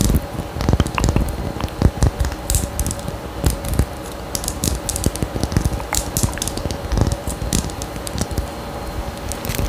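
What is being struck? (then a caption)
Small faceted glass perfume bottle. A small faceted glass perfume bottle with a gold cap and pink tassel atomizer is held close to the mic and scratched and tapped with long nails. The result is a dense, continuous stream of sharp clicks and scratchy crackles with bright, short ticks. These sit over a heavy, low, muffled rumble.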